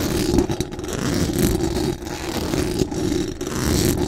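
Very long acrylic nails scratch fast and aggressively across the hollow metal mesh dome grille of a large condenser microphone. The result is a dense, continuous rasping scrape with a heavy low, boomy body and a faint hiss on top, dipping briefly between strokes.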